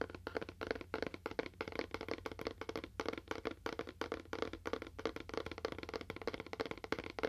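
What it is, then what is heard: Cardboard box with faux wood finish. A small, hollow, rectangular cardboard box with a faux wood finish, the Toaster Coaster, is held in the hands and tapped with fingernails. About 35 quick, dry, hollow taps come in an uneven, rapid flurry, each with a mid-pitched knock that stops almost at once.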